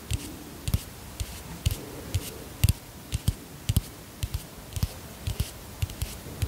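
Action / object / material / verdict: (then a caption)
tap / plastic pump bottle / plastic / none. A white plastic pump bottle, held close to the microphone, is tapped with long fingernails. About twenty short, dull taps come at an uneven, relaxed pace, each with a low, hollow thump near 90 Hz, a faint bright click on top, and almost no ring.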